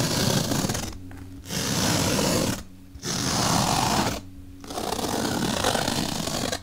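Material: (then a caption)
Melamine foam. A bottle brush is rubbed and poked into the slit of a large, solid, white melamine foam magic eraser block. It makes a dense, bright, scratchy rasping in four long bursts. Three brief pauses between them leave only a faint low hum.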